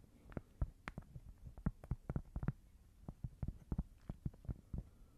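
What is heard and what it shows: A small, thin, solid square cork board is held in both hands while long nails tap and scratch across it. The sound is a quiet, irregular series of short, dull, low-pitched knocks with almost no ring, alongside faint, soft scratching.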